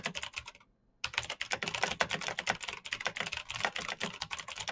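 Rapid fingertip typing on a black plastic mechanical keyboard with backlit keys produces a dense stream of sharp, bright clicks and clacks that die away almost instantly. A brief pause near the start interrupts the typing before the fast keystrokes resume steadily to the end.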